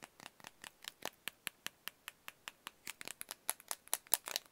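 Fingertips and nails tap and press the many colored rubber buttons of a small, flat, solid plastic LED remote control held close to the microphone. About two dozen quiet, dry, bright clicks and taps come in an uneven rhythm, each ending almost instantly with almost no low end.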